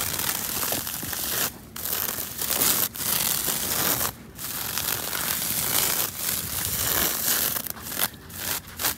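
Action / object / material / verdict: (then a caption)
scrape / dried straw reed fence / straw / none. Long pointed nails and fingers scratch and rub through a bundled panel of dried straw and reed thatch, a dense fibrous fence outdoors. The result is a steady, bright, crackly rustling, broken by several brief pauses as the strokes stop and start again.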